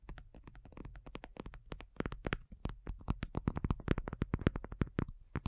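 Long nails on both hands tap rapidly across a black faux leather iPad cover, a thin, hollow-backed folding cover lying flat. The taps come quick and uneven, each a short, dull, hollow knock with a low thud and almost no ring, growing slightly louder toward the end.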